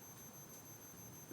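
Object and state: Nothing is struck.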